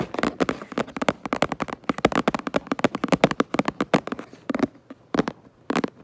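Long nails tap rapidly on the back of a cardboard Minecraft Lego box, making a quick run of dry, papery clicks with no ring after each one. The taps come densely at first, then thin out into a few spaced bursts near the end.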